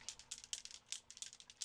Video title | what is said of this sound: Temu Finds I Couldn't Resist: Wins Or Epic Fails?! | You hear that ball in there?